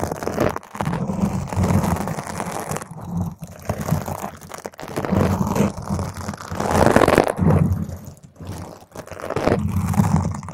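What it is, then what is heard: Foam microphone windscreen being scratched. Long green stiletto nails scratch fast across a round purple foam microphone cover. The result is a dense, continuous crackling scrape, heavy in low rumble, that swells and dips in bursts with brief gaps.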